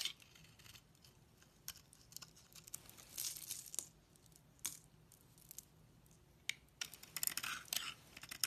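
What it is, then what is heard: Bar soap being carved. A utility knife blade scrapes and carves curled shavings off a solid Fa bar soap with a purple core, held in the hand. The sound is quiet, bright, crisp crackling and rasping in short irregular bursts, with almost no low end. Several longer scrapes stand out between softer flicks of the blade.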